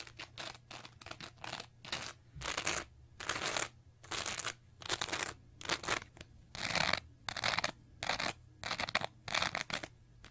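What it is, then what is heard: Foam sponge being scratched. Long nails scratch across the surface of a small teal foam sponge with a wavy, textured edge, making a string of bright, crackly scratching bursts. The strokes come at an uneven pace, some short and some drawn out, with brief quiet gaps between them.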